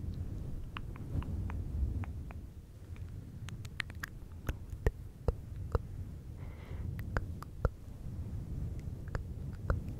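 Fingertips and nails of both hands scratch a fluffy faux fur windscreen on a silver microphone. The result is a dense, low, rumbling rustle with short, sharp crackles and clicks scattered throughout.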